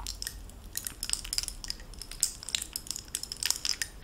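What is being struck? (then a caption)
Metal bib necklace with glass stones. A costume bib necklace of oval faceted blue stones set in gold-tone metal bezels is jostled with the fingertips and long nails so the pieces clink together. Quick, bright metallic chinks and tinkles follow in an irregular stream, each dying away almost at once over a faint low hush.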